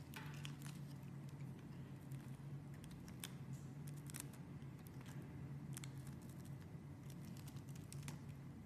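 A metal blade shaves and cuts thin curls off a palm-sized beige solid bar of soap held in a hand with long dark nails. Soft, repeated scraping and carving strokes with brief bright crisp edges sit over a steady low hum throughout.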